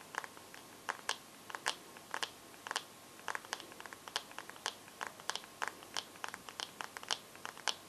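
Long nails tap and scratch the glass screen of a bare teal Samsung phone held with the screen facing out, giving about 30 sharp, bright clicks with no low end. The taps come in an irregular rhythm, each dying out almost instantly over a faint hiss.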